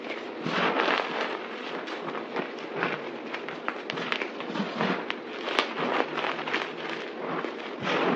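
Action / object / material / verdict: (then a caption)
scrape / pile of crumbled dry soap / soap / none. Hands grab, squeeze and crunch a pile of white crushed dry soap powder and chunks on a table, working the crumbs with fingertips and palms. A dense, continuous crackling crunch fills the clip, broken by sharp, bright clicks and brief louder swells as the crumbs are pressed and broken apart.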